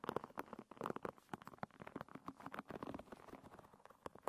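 Fingers and nails scratch and pat the tips of a hairbrush's wooden pin bristles, making a fast, uneven run of dry clicks and soft taps with quick brushing scratches. The sound is quiet and mid-toned, each tap short with almost no ring.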